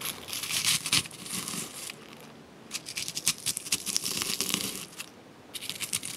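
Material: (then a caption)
Freeze-dried fruit. Whole crisp freeze-dried strawberry slices, dry and brittle, fill a large granite mortar and are crushed and pounded with a hand-held granite pestle. Bright, dry crunching and crackling comes in three bursts of rapid grinding, separated by brief quieter pauses, as the brittle slices break apart.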